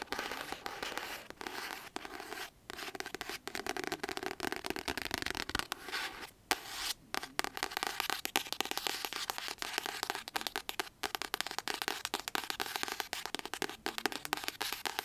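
Long acrylic nails tap and scratch rapidly across the paper cover of a solid pink paperback novel, "Just Like Magic." The dense stream of crisp, bright clicks and dry scrapes has almost no low end, and each tap dies away instantly. Two brief pauses break it, near 2.5 seconds and around 6.5 to 7 seconds.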